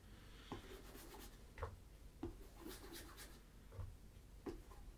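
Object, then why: Leather ankle boot. Fingertips wrapped in a polishing cloth rub and scratch across the toe and vamp of a tan leather Tricker's Stow ankle boot, hollow and empty, held on its side on a table. Quiet, soft rubbing with a low, muffled body is punctuated by several short, dry scratch strokes that flick up into brief bright hiss. Each stroke dies away almost instantly.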